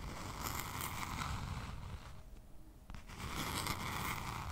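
Long pink nails scratch and tap a small spiral-bound notebook with a lime green cover, likely cardboard, held upright close by. A dense, bright, crackly scratching runs over a low rumble, then drops away for a moment before a sharp tap, and the scratching starts up again.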